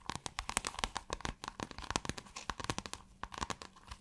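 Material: Synthetic fabric.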